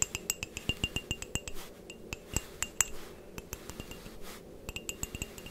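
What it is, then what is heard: Ceramic mug. A white printed ceramic coffee mug, hollow and apparently empty, is held near the mic and tapped and scratched with long painted nails. It gives a quick run of sharp, bright clinks with a high ringing tone, broken by a few softer scratching passes. Each tap dies away almost at once.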